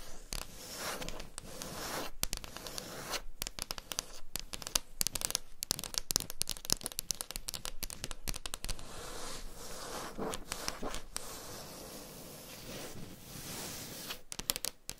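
Long pink nail tips on both hands scratch and tap a solid wooden tabletop, while the microphones lie nearby untouched. The result is a steady, dense stream of dry, bright scratching with quick, sharp taps mixed in, and no ring after each contact.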